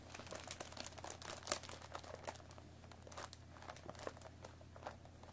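Long nails scratch and pick at the top flap of a hollow cardboard Earl Grey tea bag box, making a dense run of dry crinkling and scratchy clicks. A steady low hum sits underneath, with one sharper bright snap about a third of the way in.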